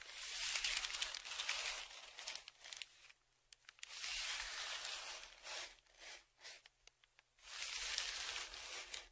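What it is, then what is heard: Kraft paper padded mailer. A dark flat tongue depressor scrapes and scratches across the crinkled surface of a large brown kraft paper Amazon padded mailer lying flat. Long bright, rasping scrapes alternate with short crisp scratches and taps between them.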